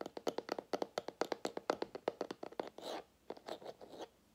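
A small, clear plastic drinking-water bottle with a white plastic cap and blue label, hollow and partly filled with water, is held in the fingers while fingertips and nails tap and scratch its body and label. A rapid run of short, hollow, plasticky taps with a mid-range knock gives way to softer scratching and brushing, then quieter handling of the cap.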